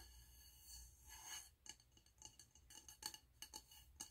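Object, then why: Wax-filled frosted glass candle jar. Fingernails tap the frosted glass wall of a medium, wax-filled frosted glass candle jar with a gold lid, held in the hands. A soft, airy rustle swells over the first second and a half, then gives way to a quick, uneven series of bright, high glassy clicks. Each tap dies away almost instantly.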